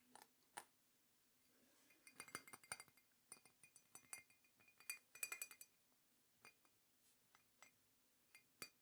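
A teal and green ceramic mug with a glossy glaze is tapped repeatedly, giving quick, bright clinks with a clear ringing tone and very little low end. The taps come in uneven bursts, sometimes scattered and sometimes rapid clusters, each dying away almost at once.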